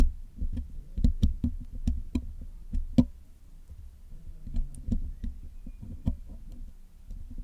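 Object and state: Metal microphone mesh grille being picked and scratched.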